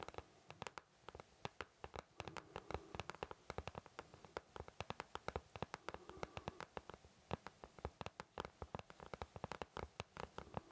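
Fingertips of both hands tap and scratch the back of an empty white plastic paint palette, a thin shell with round wells, held up in front of the face. Dozens of quick, dry, hollow clicks follow one another in an uneven stream, each dying away almost instantly. Soft scratching and a faint low hum sit underneath at a quiet level.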